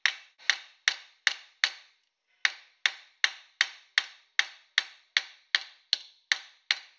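A palm-sized thin copper disc, held by hand on a round metal stake clamped in a blue vise, is struck 17 times with a metal planishing hammer while being shaped into a small dish. Each blow is a sharp, bright metallic tap centered near 1.8 kHz that dies away almost instantly, with the stake beneath adding to the ring. The taps come at a steady pace, with a brief pause after the fifth.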